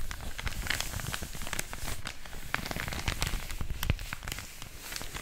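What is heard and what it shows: A large, thin, flat white paper mailer bag, hollow and apparently empty, is held in both hands and crinkled and rubbed by fingertips with long orange nails close to a microphone. It makes a continuous, dense crackle of sharp, bright paper crinkles over soft low rumbling handling noise. The steady, close rustling carries no pauses.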